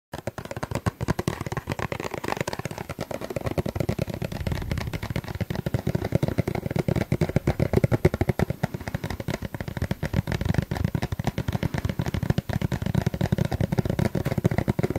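A plastic suncream tube is tapped rapidly and continuously for the whole clip. The taps are dull, short and low-pitched, with almost no ring, and they blend into a steady, dense patter.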